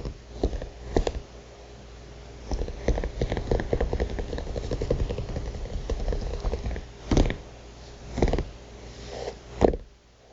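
Long painted nails on both hands tap and scratch rapidly on the flat, thick paper cover of a notebook printed with an illustration. A dense run of dull, low-heavy taps and soft scratches is broken by a few louder, isolated knocks near the end.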